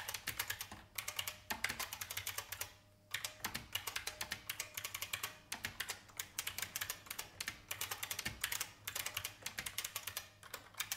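Fast fingertip typing on a vintage beige IBM mechanical keyboard with plastic keys produces a dense stream of sharp, bright clicks that die away almost instantly. The clatter runs in quick bursts broken by brief pauses, with very little low end beneath the crisp, high keystrokes.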